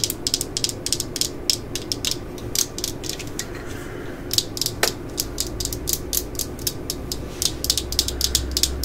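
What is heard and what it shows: Long nails tap and scratch the underside and ridges of a black plastic 18V drill battery pack held in the hands, its hard plastic case feeling solid. Quick, dry, bright clicks come in fast irregular runs, each dying away almost instantly, with a soft scrape and a steady low hum beneath.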